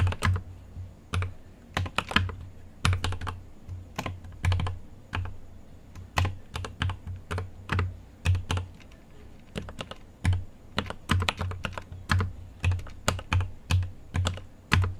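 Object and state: Mechanical keyboard with plastic keycaps.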